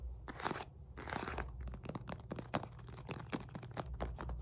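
Long nails tap and scratch quickly across the surface of a solid, red and white stitched synthetic leather medicine ball weighing 4-5 lb. The result is a rapid series of dry, crunchy taps and rasping scrapes that stop short with no ring, heavy in the low end with little brightness.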